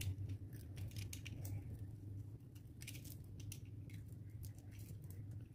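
A metal utility knife blade scores a grid into a solid, dry, palm-sized yellow rectangular bar of soap held in the hand and cuts it into small cubes. Short, bright, crisp scraping and crunching clicks come through over a steady low hum that fills the whole clip.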